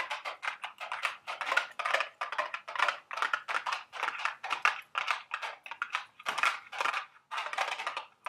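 Long, sharp acrylic nails tap and scratch on a small, hollow, printed cardboard candy box shaped like a milk carton, holding Dubble Bubble gum Easter eggs, held in the hands. The result is a steady run of quick, dry, papery clicks and scrapes centered in the midrange with a bright, hissy top and no low end. Each tap dies away almost instantly.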